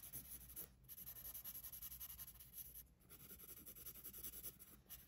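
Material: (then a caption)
Paper. A pencil tip shades and scratches the page of an open paper sketchbook resting on a wooden desk, moving in rapid strokes. The sound is a steady, dense scratchy rubbing with a bright hiss, briefly dipping twice as the pencil pauses between bursts of shading.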